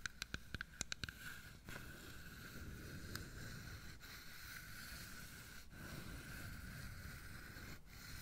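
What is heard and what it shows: Fingertips and nails rub and scratch along the grained outer wall of a carved solid wooden box of dominoes held on its side. It opens with eight sharp, short clicks, then settles into a steady, low, raspy scratching with a faint high hiss.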